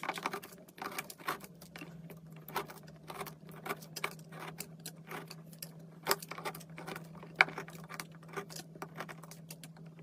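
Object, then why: Soap bar shaved with a metal knife. A metal knife shaves thin curls off the bottom edge of a large solid peach-pink soap block held by hand. Quiet, quick, crisp scraping and crackling clicks recur over a steady low hum. Two sharper snaps stand out near the middle and toward the end.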